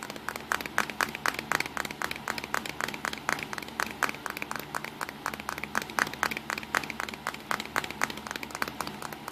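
Fingertips drum rapidly and irregularly on the front casing and lens area of a small black plastic Nikon compact digital camera lying on a towel. The result is a steady stream of short, dry, clicky taps, centered around 1.7 kHz with bright edges, that die away almost instantly and carry very little low end.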